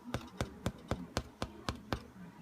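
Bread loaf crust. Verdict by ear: Hollow.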